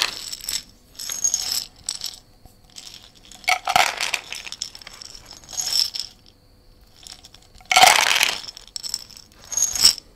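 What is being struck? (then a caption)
Small glass jar with dried herbs. A small glass jar of dried herbs with a white lid is shaken and tilted by hand close to the mic. Soft, bright rustling and rattling bursts come in uneven waves with quiet gaps between them. Two louder moments, near 4 and 8 seconds, add sharp glassy clinks.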